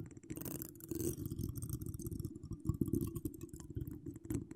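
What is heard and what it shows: Long acrylic nails decorated with wire spirals scratch across a hollow metal mesh microphone grille. A dense, continuous rustling and scraping sits mostly in the low end as a muffled rumble, with faint bright crackles mixed in.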